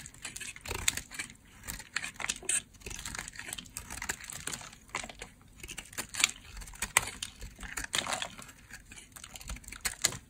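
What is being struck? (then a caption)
Bar of soap. A utility blade cuts along the edges of a hand-held white, solid bar of dry soap. The cutting makes a steady run of dry, crisp crunches and scraping clicks, bright and short with no ring. Thin pieces shave off the edge.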